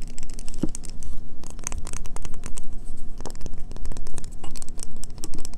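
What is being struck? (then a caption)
Bar of soap. A solid green bar of soap held in the hands is tapped and scratched quickly with long fingernails. The result is a dense, continuous run of crisp clicks, taps and scratchy rasps.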